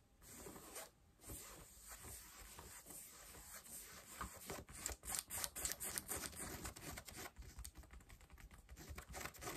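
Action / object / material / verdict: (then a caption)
scrape / denim jeans fabric / denim / none. Long nails scratch pale yellow denim jeans stretched over a bent knee, making quick, uneven rasping and brushing strokes with a bright, papery texture. The strokes grow louder and more distinct midway through, over a faint steady high whine.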